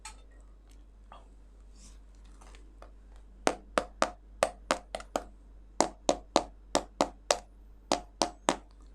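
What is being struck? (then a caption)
Durian fruit. A durian fruit is knocked on repeatedly to judge its ripeness, after a few seconds of quiet background. The knocks are sharp, dry taps with a bright attack and a brief mid-pitched body that dies away almost at once. They come in two quick bursts separated by a short pause, and no verdict on this fruit's ripeness is given.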